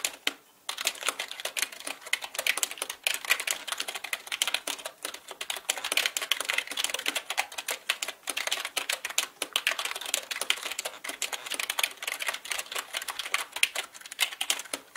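Fingertips type on the plastic keycaps of a black mechanical computer keyboard, producing a dense, continuous stream of short, bright clicks and clacks. The keystrokes run steadily with varying speed and loudness, each decaying almost instantly.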